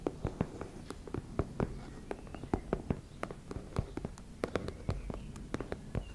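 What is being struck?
Fabric cosmetic pouch.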